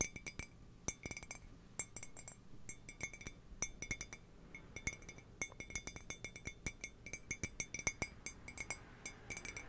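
Fingernails tap rapidly in quick bursts on the body and base of an empty, hollow white ceramic mug with a handle, held in both hands. Each tap gives a short, bright clink with a ringing tone around 2.2 kHz that dies away almost immediately. The tapping comes in irregular clusters over a quiet background.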